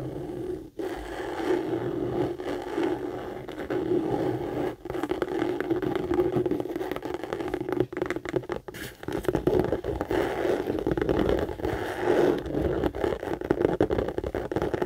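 Long nails rapidly scratch and tap the textured front panel of a hollow, medium tan, brown pebbled-leather Michael Kors tote held upright. The result is a dense, continuous rasp of fast scraping and light taps, centered in the low-mid range near 430 Hz, with brief dips around 0.7 and 4.8 seconds.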